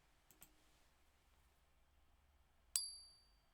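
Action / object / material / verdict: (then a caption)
strike / gold bullion coin / gold / real. A 1 oz gold Maple Leaf bullion coin is struck once with a stiff object, giving a bright, high-pitched ring with sharp tones that decays over about half a second. A couple of faint clicks come just before the strike. The ringing frequencies match those expected for a genuine gold Maple Leaf.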